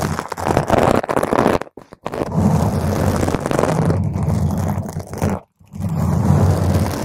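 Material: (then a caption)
Foam. Long, pointed green acrylic nails on both hands scratch a purple spherical foam windscreen on a microphone. The result is a dense, muffled, low rumbling crackle with almost no bright content. The scratching pauses briefly twice, once near the two-second mark and again about two seconds before the end.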